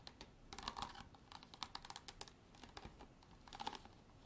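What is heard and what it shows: A hard plastic bottle is tapped and scratched with long artificial nails for ASMR, giving quiet, quick clicky taps in irregular bursts with a bright, hollow ring around 1 kHz. Each tap dies away almost at once, between brief stretches of soft scratching.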